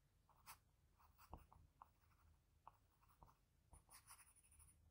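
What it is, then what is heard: Pencil shading on drawing paper. A graphite pencil with a blue patterned barrel, held in the fingertips, makes short scratching shading strokes around the eye of a pencil portrait on a flat sheet of drawing paper. A quiet series of soft, dry scratches and brief taps sits over a low, steady background rumble, with a few brighter hiss-like strokes toward the end.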